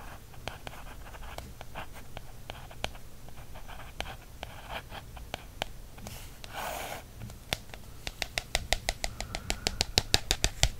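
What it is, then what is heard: Paperback book cover. A wooden stick is traced and scratched across the printed back cover of a small paperback field guide, thin card stock over a solid stack of pages. Scattered dry clicks and soft scratchy strokes sit over a low steady hum, with a longer bright scrape in the middle. It ends in a quickening run of sharp, short taps.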